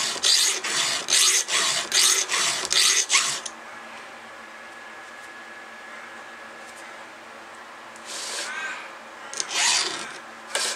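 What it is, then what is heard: Steel chainsaw chain being filed. A gloved hand strokes a round steel file, set in a red guide, across the cutter of a solid steel chainsaw chain, making bright, rasping filing scrapes. A quick, steady run of about seven strokes is followed by a pause with only a faint low hum, then a few more scrapes at the end.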